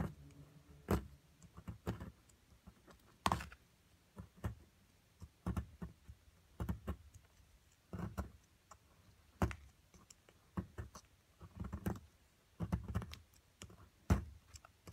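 A metal chisel scrapes and chips away white plaster from a solid plaster block holding purple crystals. Short, dry clicks and taps come in irregular bursts over quiet scraping, with little ring after each strike. The low thud of each chip is stronger than the bright ticks on top.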